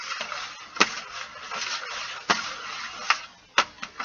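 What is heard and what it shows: Fingernails scratch and tap the lid of a flat, closed Stabilo CarbOthello metal pencil tin that is hollow, holds pencils and lies on carpet, while the other hand holds a pencil off to the side. Continuous bright, papery scratching runs throughout, broken by sharp, short metallic taps that ring out with a clear pitch near 1.3 kHz and die away quickly.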